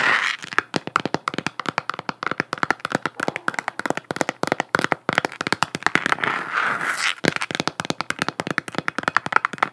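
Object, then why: Hollow plastic sphere lamp. A hollow plastic galaxy-print moon lamp, about 15 cm across, is held in one hand while long nails tap and scratch its surface. The result is a dense, continuous stream of sharp, dry clicks with almost no ring, centered in the upper mids with some bright edge. Brief scratchy passages run between the taps.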